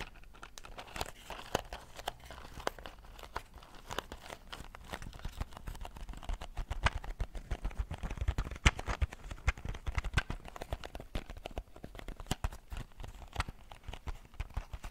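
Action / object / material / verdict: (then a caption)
tap / small cardboard matchbox holding matches / cardboard / none. A small, closed, hollow cardboard matchbox with a striker strip, holding matches, is held in both hands while fingertips and long nails tap and scratch its top surface and striker edge. Many quick, dry taps and crinkly scratches follow one another steadily, with a soft low thump under each tap and no ring after it.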